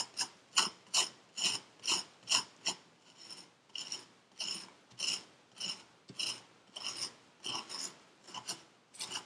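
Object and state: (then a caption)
Kinetic sand scraped in a paper cup. A metal needle tool rakes lines through purple kinetic sand packed into a paper cup. About 20 short, bright, scratchy rasping strokes come in a loose, uneven rhythm, each with a crisp hiss centered around 3 kHz and almost no low end. Each stroke stops quickly with no ring.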